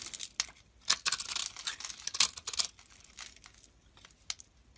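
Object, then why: Bar of soap cut with a metal blade. A metal blade shaves a grid of small crumbly cubes from a rectangular, solid, pale green soap bar held in the hand. The sound is a run of crisp, bright scraping crackles and crumbling ticks, with louder bursts among quieter rustles and almost no low end. Each burst cuts off quickly with little ring.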